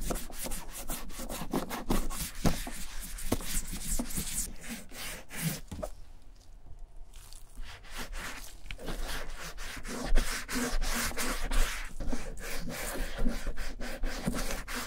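Gloved fingers rub along the flap and pocket sides of the tan leather pocket on a vintage German satchel bag being dyed and restored. The result is a steady, dense stream of dry rubbing and scraping strokes with a brief quieter lull around the middle.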